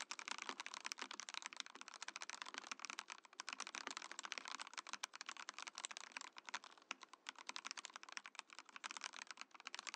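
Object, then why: Plastic mechanical keyboard. A compact Mojo68 mechanical keyboard with a translucent plastic case and plastic keycaps is typed on steadily with the fingertips, while the Mojopad numpad beside it sits idle. The result is a fast, continuous run of crisp, bright plastic clacks, each keystroke very short and dry, with almost no low end.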